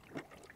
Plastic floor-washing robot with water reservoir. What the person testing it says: that's because it's filled with water